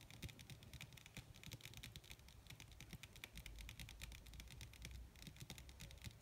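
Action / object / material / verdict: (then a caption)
tap / thin leather sheet / leather / none. Long red acrylic nails on both hands, with rings on the fingers, tap rapidly and scratch across a large, crumpled, wrinkled black leather (possibly faux) sheet that is thin and soft and laid flat on a surface. The result is a dense, continuous patter of quick, dry, bright clicks over soft, low thuds, with each tap dying away almost at once. Brief rustly scratches run between the taps.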